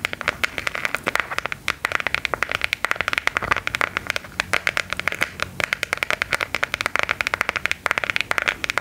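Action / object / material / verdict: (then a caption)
tap / smartphone in hard plastic case / plastic / none. A smartphone in a patterned, clockwork-design plastic hard case is held in both hands and tapped with long gold metal filigree nail claws. Rapid, continuous, sharp clicky taps with no ring-out, mostly bright and high-pitched with little low end.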